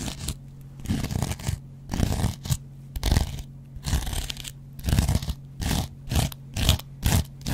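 A metal double-edge razor blade scratches the yellow cellulose foam surface of a hand-sized dry kitchen sponge with a green scouring pad. Short bursts of dry, crunchy scraping come in quick strokes separated by brief pauses, with a steady low hum underneath.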